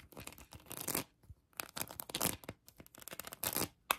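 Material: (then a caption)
Acrylic. Long acrylic nails scratch a hand-sized plastic heart covered in colored acrylic rhinestones. Quick bursts of dry, bright rasping and clicking come and go in uneven clusters, with short quiet gaps between strokes and almost no ring after each one.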